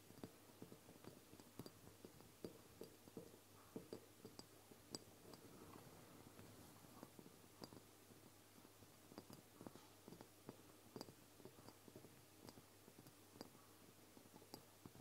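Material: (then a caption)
Glass. Long fingernails on both hands tap and click against the sides of a medium amber glass oil bottle with a label and a black dropper cap, standing upright on a table. The quiet, irregular taps come as sharp, bright glassy clicks that die away almost instantly, over a soft steady background.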